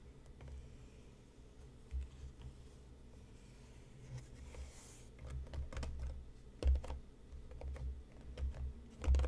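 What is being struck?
Cardboard tea box.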